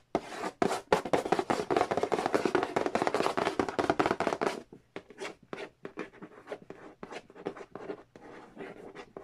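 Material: Cardboard.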